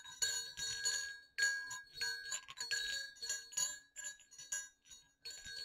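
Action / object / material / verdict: knock / two small metal jingle bells / metal / none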